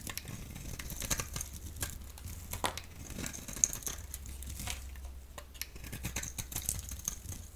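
A solid yellow oval bar of soap, held in the hand, is shaved into long strips with a utility blade. Crisp, dry scraping and crinkling cuts repeat throughout, with bright high-pitched edges and a steady low hum underneath.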